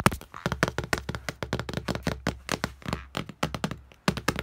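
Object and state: Glass mirror tapped.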